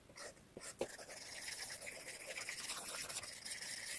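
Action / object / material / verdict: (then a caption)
scrape / glass tablet touchscreen tapped and scratched with a plastic stylus tip / glass / none. A plastic stylus tip taps and scratches across the glass touchscreen of an iPad in a blue case resting on a wooden table. A few quick, light taps come first, followed by steady, bright, hissy drawing strokes that continue at a quiet, even level with almost no low end.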